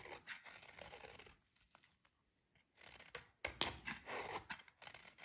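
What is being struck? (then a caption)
Soap bar scraped by a metal blade. A solid, dry yellow oval soap bar held in the hands is quickly rasped and scraped by a metal utility blade. The result is bright, crisp scratching and shaving bursts with a short pause in the middle, then sharper, louder scrapes.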